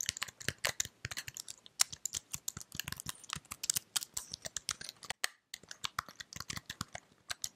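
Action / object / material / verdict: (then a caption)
tap / plastic computer keyboard / plastic / none. Fingertips with long red-painted nails type on and tap the keys of a white slim plastic computer keyboard held up close. Rapid, bright, dry clicks and clacks follow one another in an uneven stream with almost no ring, broken by a brief silence around the five-second mark before the tapping resumes.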